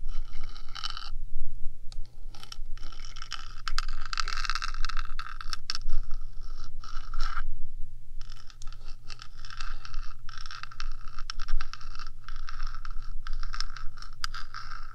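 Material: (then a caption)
Metal. Long acrylic nails on one hand scratch and tap along the top of the hollow rectangular metal housing of a 3Dio binaural microphone. Dense, bright scraping and scratching runs almost continuously, broken by brief pauses, over a steady low hum.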